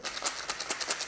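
A box of even older wafter and pop-up boilie hookbaits is shaken, and the baits rattle loudly like stones in a quick series of about ten bright, hissy clatters. The rattling shows they have dried out from sitting in the store a long time and are stale, since fresh baits stay wet and do not rattle.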